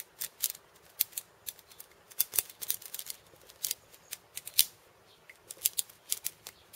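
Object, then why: Wooden cabasa with steel bead chains. Fingers tap the wooden end disc of a wooden cabasa and scratch its steel bead chains with painted nails, seen close up. About two dozen quiet, crisp taps and scratchy rattles come in an irregular stream, bright and high with almost no low end. Each one dies away almost at once.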